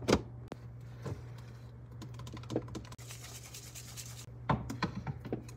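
Fingers tap on a refrigerator in short, dull taps with some light scratching, the taps clustered at the start, in the middle and near the end. A steady low hum runs underneath throughout.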